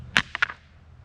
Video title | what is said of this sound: Free free free | that ain't metal listen to that